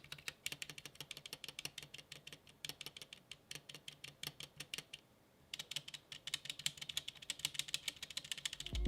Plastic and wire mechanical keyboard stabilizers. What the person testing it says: they aren't too bad i do hear some rattle when i tap on them